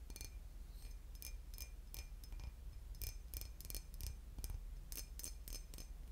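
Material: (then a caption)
Glass. A boot-shaped glass bottle with liquid inside is tapped and scratched, giving a series of short, bright, glassy clinks and ticks that fade quickly. The clinks sit over a steady low hum throughout.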